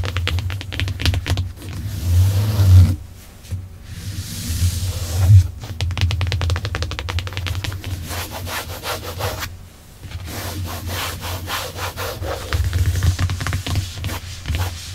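Long acrylic nails scratch and rub across the padded black faux leather center armrest lid in a Tesla, its solid padded surface giving dense, rapid scratchy rustles and crisp ticks. A steady low hum runs underneath throughout, and the scratching briefly drops away near 3 and 10 seconds before resuming.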